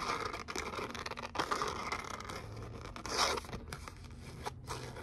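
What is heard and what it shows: Long nails scratch and tap a thin gold glitter cardstock letter "O" cutout, which is at times bent slightly in the hands. A dense, crackly, bright rasping runs throughout, broken by brief gaps and a few sharper tap-like bursts, all at a fairly low level.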